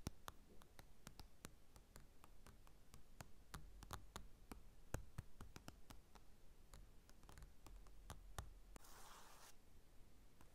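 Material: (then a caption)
Glossy paper. Fingertips scratch and trace across the glossy cover of a closed paper magazine lying on a table. The result is a quiet, steady run of sharp, dry taps and clicks over a low rumble, with a brief brighter scratching swish near the end.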